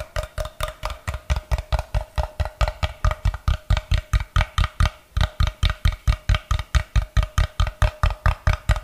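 Fingers tap and scratch the faces and end of a solid block of unfinished light wood, turned in both hands. About forty short, dull, low-weighted thuds come in a fast, fairly steady rhythm, each dying away almost at once, with a faint steady mid tone running underneath.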